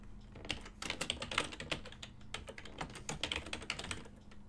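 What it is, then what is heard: Plastic computer keyboard typing. Fingertips type fast and continuously on a full-size ergonomic silver and black plastic desktop keyboard with hollow key switches. The result is a dense, irregular stream of short, bright plastic clacks over a faint steady low hum.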